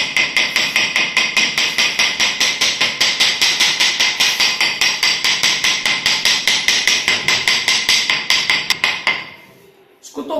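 A mallet strikes wood-look porcelain floor tiles measuring 1.20 x 0.20, laid with tile levelers, to check for hollow spots. A fast, steady run of bright, short taps rings out with a high tone and little low end, then stops near the nine-second mark. No hollow sound is heard, and the floor is solid.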